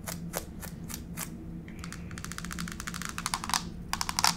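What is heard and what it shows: Long pink fake nail tips tap on a solid grey wood-grain laminate floor close to the camera. Five spaced, crisp clicks give way to rapid, bright tapping that speeds up toward the end. A faint low hum runs underneath throughout.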